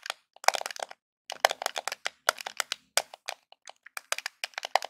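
Fingertips and nails tap and scratch the top edge of a small, hollow grey plastic Nintendo game controller held edge-on. Quick clusters of dry, clicky taps and bright crackling scratches come in irregular bursts with brief pauses between them. There is no low rumble, and each sound stops almost instantly.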